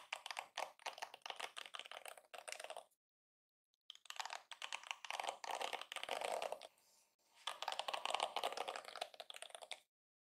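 A yellow plastic detangling hairbrush is held in one hand while a fingertip and nail strum along its rows of flexible plastic bristles. The result is dense bursts of quick, dry, bright clicking and ticking, much like rapid typing. The bursts are separated by a near-silent gap around three seconds and a brief quieter lull near seven seconds.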